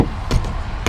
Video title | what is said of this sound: Good Morning, GoodBye!- Pinoytrucker | kung hindi siya flat, iba, ganito yung tunog niya